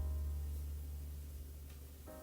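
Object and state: Nothing is struck.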